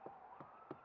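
Three knocks on the exterior stucco wall of a house that looks like block construction give short, hollow, mid-pitched thuds over a faint steady hum. The hollow sound shows it is a wood-framed wall, not block: studs, plywood and mesh with stucco on top, with cavities between the studs.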